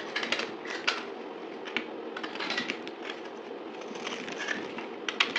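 A utility knife blade cuts and scrapes a dried, solid white soap bar with a gold-painted surface held in the palm, played at double speed. The sound is a dry, bright, crackling scrape with sharp crisp clicks as flakes break away, and almost no low end.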